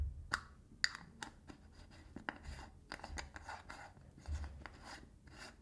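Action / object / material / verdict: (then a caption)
scrape / small metal tin lid / metal / none. Fingertips and nails scratch the ridged edge of a blue metal lid on a small got2b hair wax tin held upright in one hand. A series of quick, dry scratches and taps sound bright and crisp, with short sharp clicks over a quiet, low rumbling background. Each stroke stops almost instantly, with no ringing.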